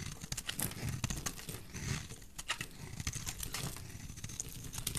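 A metal blade scrapes across a solid, rounded, bright green bar of dry soap, piling up shavings. The sound is a steady run of dry, crackling scrapes and crisp crinkly ticks over a soft, low rumble, with short, bright flicks where the blade catches.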